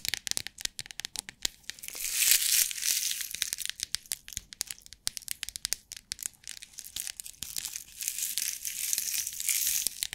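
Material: Plastic.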